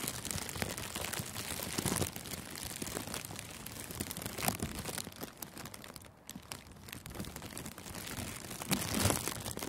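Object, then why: Thin clear plastic cellophane wrap. Thin, clear cellophane gift wrap is scrunched and crinkled with the fingers around a furry microphone windscreen. A dense, continuous run of sharp crackles spreads from low to bright high frequencies. It swells louder near two, four and a half, and nine seconds, and dips briefly around six seconds.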